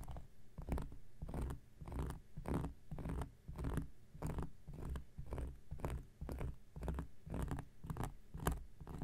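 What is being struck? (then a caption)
Cork coaster scratched with a knife tip. The tip of an X-Acto knife blade scratches a round, flat, solid cork coaster in a steady series of short, dry scraping strokes, each carrying a faint bright rasp. The strokes are quiet and muffled with a low, soft body, and each stops almost at once.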